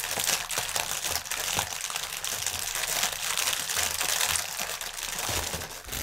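Both hands rest on a clear, hollow, air-filled plastic air cushion packaging strip lying on a table, crinkling and pressing it with the fingertips. A dense, continuous stream of bright, crackly crinkling fills the clip, with brief soft low thumps as the fingers press down.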